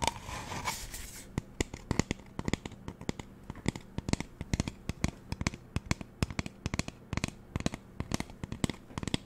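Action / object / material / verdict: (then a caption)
tap / plastic spray bottle / plastic / none. Fingernails tap and scratch the body of a magenta hollow plastic spray bottle. A second of rough, hissy scratching opens the clip, then it turns into a long, irregular run of sharp, dry clicks with no ring. A faint low hum sits underneath throughout.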